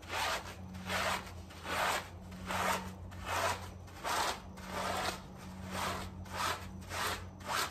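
A gloved hand vigorously scrubs a small soapy fabric doormat lying on tiles with a green scrub sponge. Rhythmic swishing, rasping strokes repeat at roughly 77 per minute, each a bright, broadband scrape rising and falling, over a faint steady low hum.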